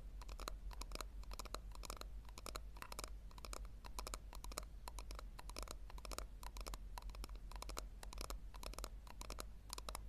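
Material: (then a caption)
Plastic. Long nails scratch and tap rapidly on the sides of a small hollow pink plastic tub held with its base facing forward. The result is a dense, uneven stream of dry, bright clicks and scratchy crackles over a steady low rumble, all at a quiet level.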